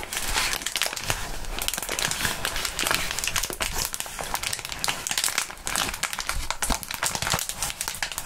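A wad of clear plastic bubble wrap is crumpled and crinkled in gloved hands. A dense, continuous stream of bright, crisp crackles runs throughout, with steady loudness and no pauses.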